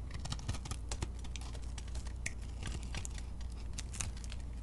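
A metal blade cuts crumbly pieces off a solid, beige, flaky soap chunk that is partly coated in glitter. The cutting makes dense, crisp crackling and scratching with many sharp bright ticks over a steady low rumble. The level stays fairly even throughout.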